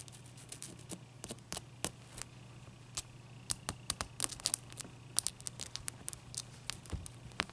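Long nails tap and scratch a large, clear, solid ice cube resting near a towel, with the towel partly covering the cube at the start. Sharp, bright clicks and faint scratches come in an irregular series with brief quiet gaps, over a steady low hum.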